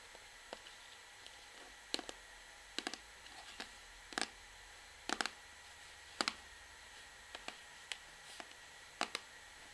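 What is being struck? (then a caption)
Plastic shampoo bottle. Long nails tap an orange plastic shampoo bottle held at an angle, striking both its front and the label on its back. About seventeen short, dry, bright clicks come at irregular intervals, some in quick doubles, each dying away almost instantly over a quiet, steady background hiss.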